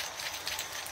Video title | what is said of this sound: “How to Use Luffa Plant Juice as an All‑Round Poultry Remedy Naturally”: 100% organic farming. | if I shake you can hear the sound. That is a seed.